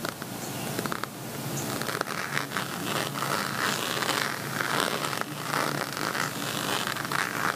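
Fingertips and nails scratch across the bumpy surface of a flat zip plastic beaded cosmetic pouch, covered in small white and black plastic bead-like dots that form a pixel envelope with a red heart. The result is a steady, dense, crackly scraping with a bright, gritty texture centered around 1.3 kHz. Short sharp clicks and ticks stand out as the nails catch on the beads.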